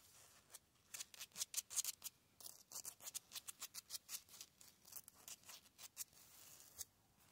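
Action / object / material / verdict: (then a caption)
scrape / concrete cinder block wall / concrete / none. Fingertips and short nails quickly scratch and tap across the rough, porous surface of large, solid grey concrete cinder blocks in an outdoor wall. The result is a rapid series of short, dry, bright scratches and clicks with almost no low end. Each burst cuts off at once, with brief rubbing in between.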